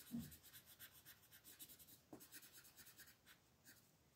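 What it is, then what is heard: Colored pencil shading on a paper page. A grey colored pencil shades the stones on a new black-and-white paper coloring book page lying flat, with a long-nailed left hand resting on the paper. The pencil makes quiet, steady, bright scratching and rubbing in small repeated strokes, with a few slightly louder taps.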